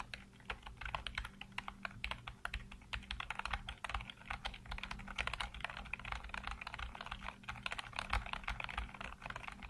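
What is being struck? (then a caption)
Plastic computer keyboard. Fingertips type rapidly across a full-size black plastic keyboard with hollow keycaps, producing a dense stream of sharp, bright clicks and clacks. The clicks die away quickly, over a steady low hum.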